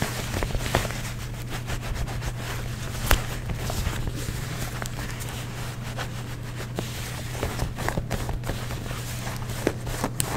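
Fingertips and nails scratch and rub blue denim jeans across a frayed rip and the seams. Soft, dry scratching and rubbing sit over a steady low hum, with sharp, bright scrapes and clicks standing out now and then.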